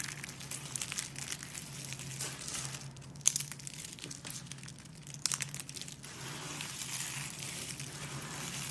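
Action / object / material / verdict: scrape / brittle dried soap shavings crushed by hand / soap / none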